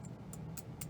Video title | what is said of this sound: Burlesk Custom Guitars - Episode 30. Deep Dive on Set Ups | brass has natural sustain because of its density